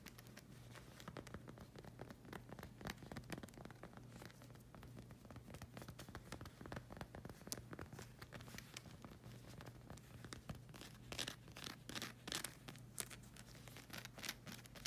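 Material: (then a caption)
Rubber. Long acrylic nails rapidly tap and scratch the solid black rubber sole of a slide sandal with a circular tread. The result is a dense, steady stream of quick, bright clicks and scratchy rasps, with sharper taps standing out now and then over a faint constant low hum.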